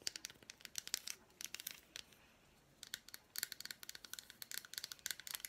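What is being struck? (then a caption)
Milk chocolate bar with fruit pieces. Long black nails tap and scratch an unwrapped solid milk chocolate bar with fruit pieces, working over its front with the inclusions and its smooth back. Quick, bright, dry clicks and crisp scratches come in rapid bursts with almost no low end. There is a brief quiet pause in the middle before the tapping picks up again.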